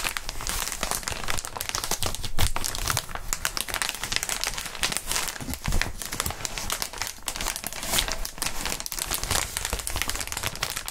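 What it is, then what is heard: Plastic air-column packaging being crinkled. Gloved hands squeeze and crinkle a clear plastic inflatable air-column cushioning sheet, its hollow columns filled with air. The result is a steady, dense crinkling full of sharp, bright crackles over a low, soft thumping from the handled plastic.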